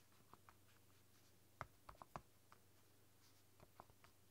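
Fingertips and long dark nails type on the soft pink keys of a flexible, translucent silicone roll-up keyboard. Quiet, muffled taps and clicks come at an uneven pace over a low, steady hum, each dying away almost at once.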